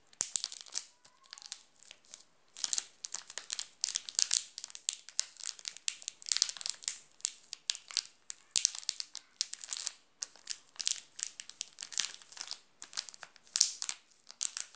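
A flat hand presses and crushes the shiny yellow plastic wrapper of a full Garoto chocolate bar. The result is a dense run of bright, crisp crinkling and crackling bursts that repeat throughout, with almost no low end and quick, dry stops between presses.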